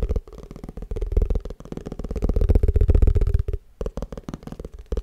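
A plastic tupperware food container is tapped fast and aggressively, producing a rapid, uneven stream of dull, low, hollow knocks with a faint resonant tone. The taps rise and fall in strength, pause briefly, then resume in quicker bursts.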